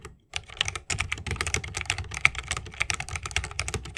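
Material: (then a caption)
Bamboo, plastic. A 60% mechanical keyboard with Holy Panda switches, a bamboo case and plastic keycaps is typed on continuously with the fingertips of both hands. After a brief pause at the start, a rapid, steady stream of crisp, bright clacks follows, each keystroke short with a soft low thud underneath.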